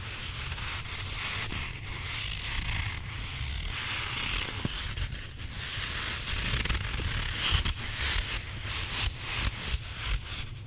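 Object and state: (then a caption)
Rubber squishy toy being rubbed and squeezed. A grey rubber squishy possum toy is held in the hands, rubbed and scratched with the fingertips and squeezed. A steady, gritty scratching and rubbing texture with bright crackle runs throughout over a low rumble, with a few slightly louder scrapes toward the end.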